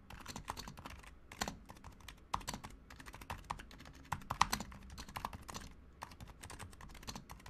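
Both hands type continuously with their fingertips on a Razer Huntsman Mini, a compact 60% mechanical keyboard with a white plastic case, white plastic keycaps, lubed silent switches and pink/red backlighting. A steady stream of soft, muted plastic clicks and thocks follows, each dry and quickly cut off, with a few sharper, louder taps standing out midway.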